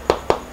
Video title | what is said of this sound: ARC DISCOVERY HELMET - Unboxing - Full Fiberglass Helmet #ARC #helmet #ARChelmet | kalau ketuk dia bukan bunyi kosong lah, padat bunyi dia